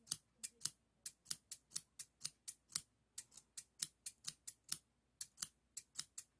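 Hand-sized stainless steel hair thinning shears with a toothed blade, solid metal, are held in the fingers and opened and closed while other scissors lie still on the table. There are 24 quick, bright, high metallic snips as the blades and pivot click and slide, each dying away almost at once. The snips come in short runs separated by brief silences.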